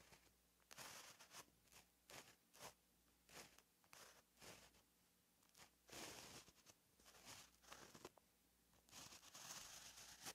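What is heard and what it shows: A white gel pen held in the fingers writes Korean letters on a flat, lined paper page of a paperback notebook lying on a surface. Its tip makes quiet, bright scratching strokes in short bursts separated by brief pauses, with little low end.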